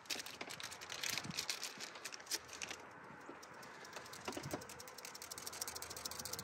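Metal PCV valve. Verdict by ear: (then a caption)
Working. A new metal Subaru PCV valve, part number 11810AA131, is shaken by hand, producing a rapid, bright, dry clicking rattle with steady bursts of sharp high-pitched ticks. The rattle shows the valve is good, unlike the old crusty valve that stayed silent on the same shake test and was discarded before this one went into the engine block.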